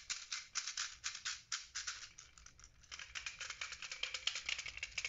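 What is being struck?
Hollow plastic puzzle ball with loose beads.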